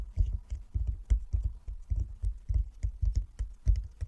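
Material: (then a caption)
Wood. Fingertips of both hands tap rapidly on a flat wooden chess board with light and dark squares lying on a table. The taps come in quick, uneven clusters of soft, dull, low thuds that die away almost at once, with faint bright clicks on top.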